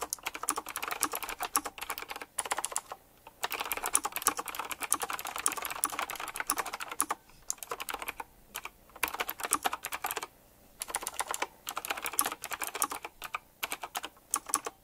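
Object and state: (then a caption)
Mechanical keyboard, fast typing. Fast fingertip typing on a retro typewriter-style mechanical keyboard with round plastic keycaps set in chrome rings. Rapid, bright, clicky key strikes come in dense bursts, separated by brief pauses. Each click cuts off almost instantly, with little low end.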